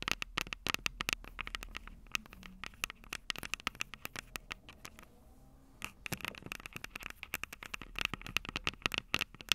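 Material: Metal, plastic.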